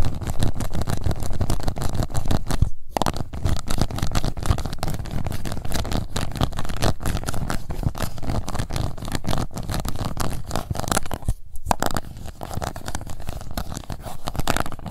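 Long nails of both hands scratch the bottom of an empty, transparent pink plastic cup. The result is a dense, continuous rumbling scratch, heavy in the low end, with brief pauses near 3 and 11.5 seconds.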